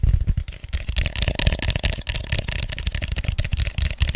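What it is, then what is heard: Styrofoam cup. Fingertips and nails tap and scratch the sides of an empty, hollow white styrofoam foam cup held upside down. The result is a rapid, continuous run of soft, low, hollow thumps layered with bright, scratchy friction across about four seconds.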